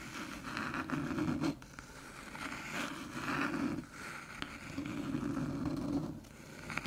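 Long silver nails tap and scratch across the top of a small, flat, hollow silver aluminium USB hub resting on a dark table. Raspy scraping strokes come in long swells with a hollow, low-mid body underneath. Faint sharp taps are scattered between the strokes.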